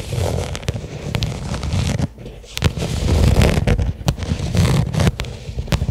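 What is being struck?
Small flat leather case.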